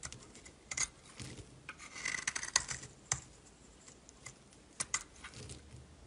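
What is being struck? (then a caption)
Bar of soap cut with a metal blade. A solid yellow bar of soap held in the hand is scraped and carved with a metal utility knife blade. Short, bright rasping scrapes come in uneven bursts, with a denser stretch of scraping in the middle and sharp clicks of the blade between quieter passes.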